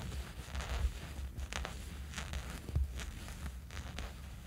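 Fingernails of both hands scratch a small dark fabric sleeping eye mask resting on a sheet. Soft, bright scratchy rustles come in short repeated bursts over a steady low rumble.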